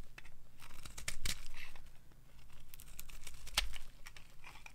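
A hand-sized solid white bar of dry soap with a black coating, held in the palm, is carved with a metal knife into crumbly shavings. Dry scraping, crunching and crinkly tearing sounds come in irregular strokes with bright crackle over a low steady hum, two strokes standing out louder.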